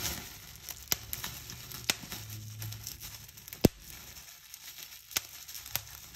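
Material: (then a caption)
Plastic. A small fold of clear plastic bubble wrap is pinched between fingertips and long nails, and the bubbles are popped one by one. Sharp, bright snaps stand out over a steady soft crinkling rustle, with one pop much louder than the rest.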